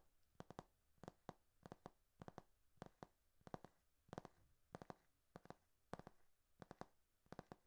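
Fingertips and nails tap and scratch the back cover of a thick hardcover paper textbook with a glossy cover and a solid paper block. Quiet, dry taps with almost no ring come in quick groups of two or three, repeating steadily throughout.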